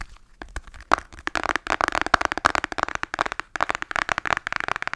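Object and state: Cardboard palette tapped with nails.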